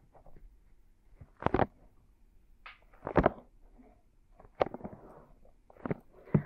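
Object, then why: Silicone binaural microphone ears. Both hands cover and slowly rub the soft silicone ears of a binaural microphone in a palm massage. Muffled, close-up rubbing and soft brushing swell into several louder, dull bursts of friction against the silicone between quieter stretches.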